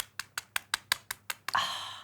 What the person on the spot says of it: and that chicken is cooked to perfection listen to how crispy this skin is